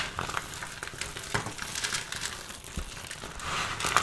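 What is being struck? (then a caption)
Pile of soap shavings and chips. Two hands with long purple-painted nails scoop, squeeze, crush and rub a large loose pile of dry, crumbly pink, beige and lilac soap shavings and chips on a dark surface. The result is a steady, bright crackling and crinkling crunch with small sharp snaps as the flakes crumble and fall back onto the pile.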